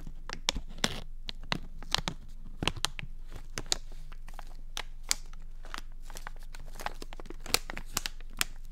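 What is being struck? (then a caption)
Small flexible plastic bag. Fingertips and nails scratch and crinkle a small, flexible plastic Dentek floss pick bag held close to the microphone. Sharp, bright crackles and snaps land in quick, irregular bursts over a steady low hum. Each one cuts off almost instantly.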